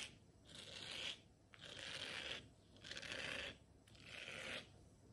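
Long nails scratch across the bristled surface of a round blue silicone scrubber pad in four slow, separate strokes. Each stroke makes a soft, bright, rasping hiss that swells and fades, with short quiet gaps between.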